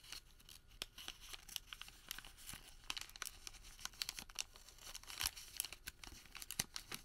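A thin printed thermal paper receipt is rolled into a tube, twisted and crinkled with bare fingertips. The result is a quiet, steady stream of bright, dry crackles and crisp snaps, with little low end and no lingering ring.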